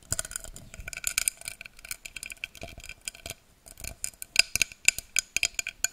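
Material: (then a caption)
Glass. A tall, empty, hollow pink-tinted drinking glass is held upright above a microphone and tapped and scratched with long dark-painted nails. Irregular, quick clicky taps mix with soft scraping, all bright and glassy with almost no low end and very short ring. A brief pause near the middle is followed by sharper, louder taps toward the end.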